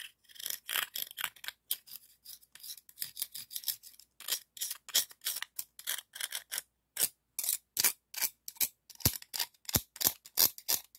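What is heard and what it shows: A hand-sized, hollow, empty pink-white ribbed scallop shell held in the fingers has its ridged surface rubbed and scraped with a dark scallop shell. The result is a quiet series of short, bright, raspy scrapes in an irregular rhythm, each one dying away almost at once.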